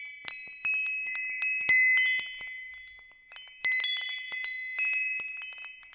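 A hanging wind chime with hollow metal tubes is held by its hook and swayed, so the tubes strike and chime. Bright, clear tones centred near 2 kHz ring out in overlapping clusters, each swell decaying slowly before the next strikes join in. There is no low-end body to the sound.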